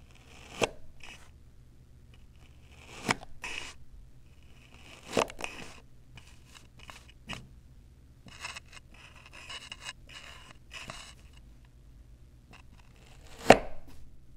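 A metal knife blade held in the fingers cuts and scrapes through small, solid, striped blocks of moist kinetic sand on a white table. Soft, gritty scraping and crumbly rasping are broken up by sharp chopping taps, the loudest coming near the end, over a low, steady background hum.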